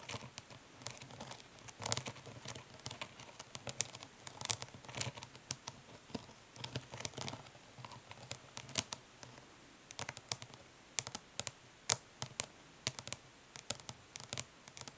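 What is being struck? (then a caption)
Plastic makeup palette case. Long nails tap quickly and lightly scratch the printed lid of a closed, flat plastic eyeshadow palette with a hollow case. The result is a dense run of short, bright, clicky taps mixed with soft scratching, each tap dying away almost instantly over a faint low hum.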